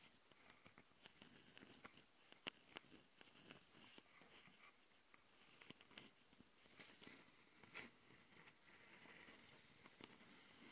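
Long painted nails on both hands scratch the metal-mesh mic capsules of a small, hollow plastic Tascam handheld audio recorder. The result is close, dry, bright scratching, broken by sharp ticks and clicks that stop instantly without ringing. The sound stays quiet and steady throughout, with little low end.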